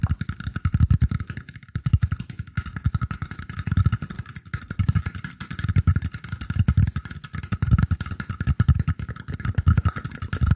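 Fingertips and nails scratch and tap the woven surface of a round, shallow, hollow bamboo tray held in front of the microphone. The result is a dense, rapid patter of short, dull taps, deep and hollow-sounding with a faint steady high hiss, swelling in loudness roughly once a second throughout.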